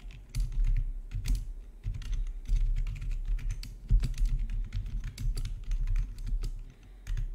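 Fingertips type steadily on a full-size black plastic RGB backlit gaming keyboard with a hollow housing, resting on a marble surface. The rapid, uneven keystrokes give a low, hollow thump under bright, short clacks that stop quickly.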